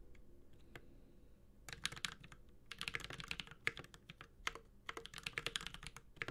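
A Space65 Cybervoyager 65% mechanical keyboard with a metal case, Holy Panda switches and ABS plastic keycaps is typed on continuously with the fingertips of both hands. After a quieter opening with a few faint taps, bursts of short, sharp keystrokes follow with bright, crisp clacks and a slight low thud underneath, each dying away almost instantly.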